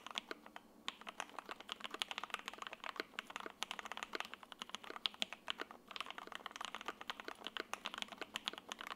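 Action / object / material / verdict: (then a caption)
tap / mechanical keyboard with ABS keycaps / ABS plastic / none. An F1-8X 80% mechanical keyboard in silver, with Lavender, a sandwich PC plate, foam and ABS keycaps, is typed on continuously with the fingertips of both hands. A dense, steady stream of quick, bright clacks is heard, each dying away almost instantly with no low-end thump.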